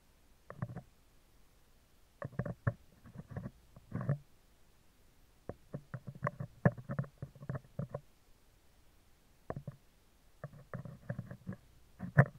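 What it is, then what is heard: Metal microphone grille scratched with tweezers. Metal tweezers scratch across the steel wire-mesh grille of a round, hollow microphone, producing bursts of dry, rasping scrapes. Low and muffled, the bursts come in irregular clusters separated by short silences.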